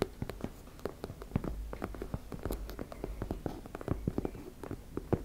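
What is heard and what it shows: Long red nails scratch and tap across a teal embossed-fabric makeup bag, producing a rapid, irregular stream of soft, dull taps mixed with faint scratchy rustling. Each tap is quiet, low and muffled, dying away almost instantly.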